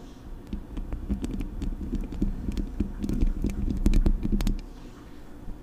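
Long acrylic nails scratch and tap the hollow metal mesh grille of a silver Blue Yeti USB microphone. Quick, irregular taps and scratchy rubs land as boomy low thumps with a steady hum near 200 Hz, topped by sharp, bright clicks. The tapping runs fairly dense for about four and a half seconds, then drops to a quieter rustle.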